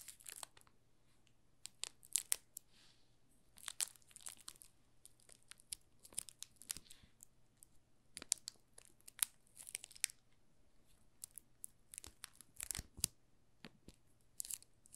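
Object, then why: Soap bar wrapped in thin plastic film. A solid green "Olive" soap bar wrapped in thin plastic film is held in the hands while the fingertips press and crinkle the loose film. Bright, crackling bursts come in irregular clusters over a faint steady low hum, each snap cutting off almost instantly.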